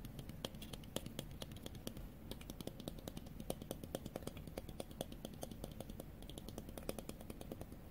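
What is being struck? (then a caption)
Plastic sunglasses with mirrored lenses. Fingernails tap and click rapidly on a pair of small, hollow-framed white plastic sunglasses with blue mirrored lenses, held up in the air. A steady stream of short, sharp, bright clicks sounds over a low background rumble, each one dying away almost instantly.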